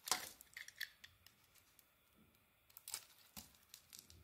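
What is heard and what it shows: A palm-sized, solid beige rectangular bar of soap is held in the hand and shaved with a small metal carving blade, sending curls and flakes falling away. Quiet, bright, crisp scraping and cutting strokes come in short bursts, with a brief lull in the middle before the shaving resumes.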